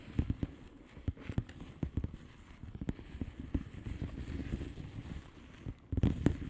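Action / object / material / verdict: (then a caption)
tap / plastic bubble wrap mailer / plastic / none. Long painted nails on both hands tap and scratch across a blue plastic bubble wrap mailer lying flat. The result is a run of quick, irregular, dull taps with soft crackly scratching between them, deep and muffled with almost no bright edge.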